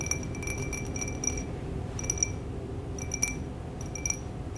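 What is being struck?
Small glass bowl.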